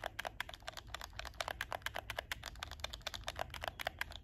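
Fingertips and nails quickly tap and click the L/R shoulder buttons of a hollow black plastic PS4 game controller, held in both hands and seen from the top edge. About 28 short, dry plastic clicks land in a rapid, uneven run, each with a bright crack and a hollow knock near 680 Hz. They die away almost instantly over a faint low hum.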